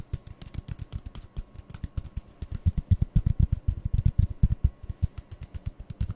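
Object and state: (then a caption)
Hollow cardboard tube. Fingertips and nails rapidly tap two identical empty, hollow brown cardboard toilet-roll tubes, one held in each hand. The result is a quick, uneven stream of dull, low, hollow thuds with faint bright clicking edges. Each tap dies away almost at once, and the tapping grows louder through the middle of the clip.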